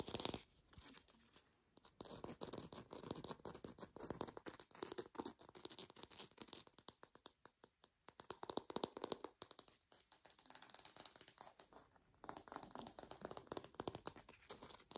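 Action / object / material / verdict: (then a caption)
scrape / artificial orange with textured plastic peel / plastic / none. A plastic or foam artificial orange with a textured peel is tapped and scratched with long pink nails. Rapid, dense bursts of crisp, bright clicking and scratching come in several stretches separated by brief pauses, with very little low end.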